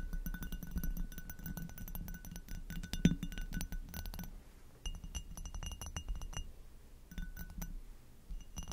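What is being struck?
Hobnail glass goblet.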